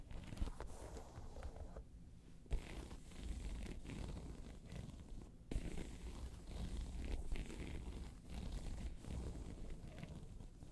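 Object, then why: Faux leather handbag with croc-embossed surface. Long pointed nails scratch across a hollow, round tan crocodile-embossed faux leather handbag. The result is a steady, low, rumbling scrape with a few sharper scratchy peaks along the way.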